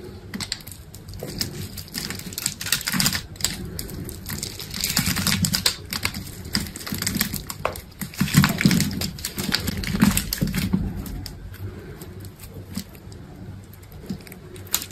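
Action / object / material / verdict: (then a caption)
scrape / bar of soap cut with a blade / soap / none. A box-cutter blade pops small cubes off a solid green bar of dried soap that has been scored in a grid pattern and is held in the palm. The result is a steady, irregular run of short, dry clicks and crisp snaps with a bright edge, over a soft low rustle. No count is given because the hits run together.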